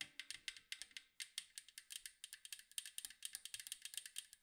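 Long mint acrylic nails tap and scratch the blue and white striped side of a round hollow metal cookie tin with a lid, held in both hands. Over thirty quick, quiet, bright clicks patter in irregular bursts, almost entirely high-pitched. Each tap dies away almost instantly with no ringing.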